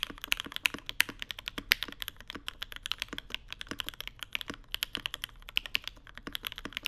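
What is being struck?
Mechanical keyboard with plastic keycaps on an aluminium plate.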